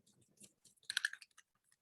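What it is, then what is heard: Ink bottle with a mixing ball rattling inside. A bottle of metallic alcohol ink (gold, silver or copper) is shaken so its mixing ball rattles inside, giving quick, dry clicking rattles that peak around the middle of the clip. Metallic inks, unlike the other colors, must be shaken until the ball is heard to mix them.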